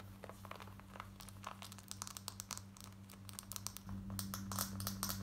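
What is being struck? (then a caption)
Cotton denim jeans. Long nails rapidly scratch light grey cotton denim jeans worn on the body, first at the leg hem and then at the waistband near the metal button. The result is quick, dry, bright scratching strokes, growing louder and denser toward the end, over a steady low hum.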